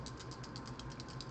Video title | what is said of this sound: 🔴 lunchtime live - let's do our nails! | you can hear that there's the little metal balls and there to make it like actually shake and mix more efficiently